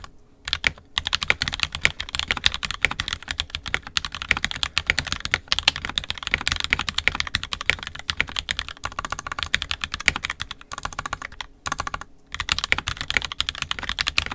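Fingertips of both hands type continuously on an NK65 Entry Edition 65% mechanical keyboard with a purple plastic case, red and black plastic keycaps, and lubed and filmed 67g Tangies switches. The result is a steady stream of short, bright, clacky keystrokes with almost no ring, broken only by a few brief pauses near the start and around the 11 to 12 second mark.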